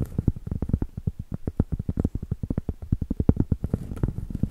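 Long acrylic nails tap and scratch the surface and rim of a round solid cork board, held flat and then edge-on. A rapid, steady run of dull, low, woody taps with almost no ring is heard, with soft scratchy brushing mixed in toward the end.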